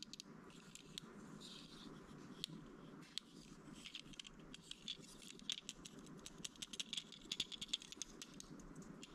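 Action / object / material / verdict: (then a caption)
tap / plastic brick toy fire truck / plastic / none. A small red-and-white plastic building-brick toy fire truck with a ladder and wheels is held in the hands while fingertips and nails fiddle with and tap its loose parts. The result is a quiet, steady stream of sharp, bright rattling clicks that are dense and irregular throughout, with a faint low hum underneath.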